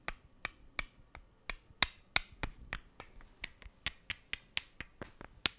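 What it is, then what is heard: Small wooden blocks clicked together. Two small, solid, light wooden cubes are clicked and rubbed together by hand close to the microphone. A quiet string of sharp, dry, bright clicks comes at an uneven pace of about three per second. Each click stops at once with no ring.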